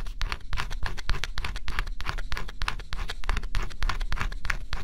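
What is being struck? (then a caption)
Coated cardboard puzzle piece scratched with a stylus. A stylus held in the fingertips scratches the black scratch-off coating on a flat, thin coated-cardboard jigsaw puzzle. Short, dry scratching strokes repeat at an uneven pace of about three per second, each a bright, gritty burst. A steady low hum runs underneath.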